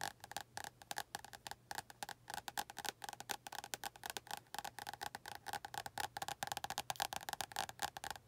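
Long nails tap and scratch the glossy card front cover of an orange paperback book held at an angle. Dozens of rapid, crisp, dry clicks with a bright edge and a light midrange knock die out almost instantly, with scratchy rustles between them. A faint low hum sits underneath throughout.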